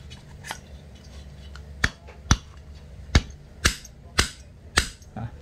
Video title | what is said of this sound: blok rx king rawan ngejim -- korteran gentong | tetap aja pasti bunyi, pasti ada suara krek gitu ya, kayak kan ada clearingnya bro.